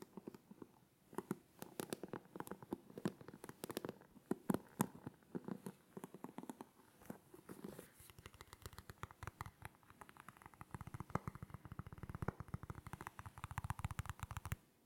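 A black plastic hairbrush with bristles is held in both hands while fingertips scratch and brush across the bristles. The result is a quiet, dense run of short dry scratching and crackling ticks with a soft low rumble underneath, denser and more rapid in the second half.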